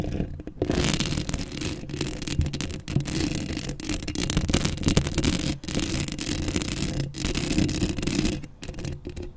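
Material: Metal mesh.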